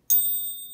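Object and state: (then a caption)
Genuine gold coin with a proper ring. A 50 pesos Centenario gold coin, 90% gold and 10% copper, is tapped once and gives a bright, high-pitched ping. The tone sits almost entirely above 2 kHz, with a steady partial near 3.7 kHz ringing on for most of a second. The ping is the normal sound for a genuine coin, which density and magnet tests had already confirmed as real gold.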